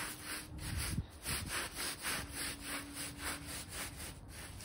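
A plastic hand brush with stiff blue bristles scrubs back and forth across a small, dry, rectangular shaggy fabric bath rug with long fringe rows, sprinkled with cleaning powder and lying on a foam mat. The result is a steady series of soft, bright scratchy rubbing strokes with a faint low hum underneath.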